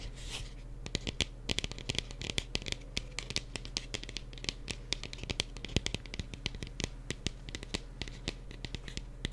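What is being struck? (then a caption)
Small plastic pumpkin. A small decorative plastic mini pumpkin is tapped and traced with the fingers. The result is a quick, uneven series of sharp, dry plastic taps with faint scratchy rubbing between them, over a low steady hum.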